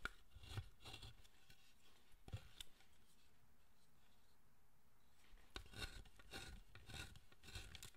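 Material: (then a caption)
Wood. A wooden-handled chisel pares and scrapes the surface of a large, solid pale wood Zōchōten statue held in one hand on a workbench, with shavings falling away. Short, dry, bright scraping strokes come in quick bursts, stop for a quiet pause in the middle, then resume in a steady run of cuts.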